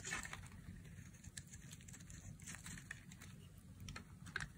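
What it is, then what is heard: Dry bar soap being carved. A metal utility blade carves and scrapes thin flakes off the edge of a solid, rectangular, palm-sized bar of dry beige soap held in one hand with long manicured nails. The sound is a steady, dry, crackly scraping with brief bright ticks and crunches as flakes break away, over a low rumbling undertone.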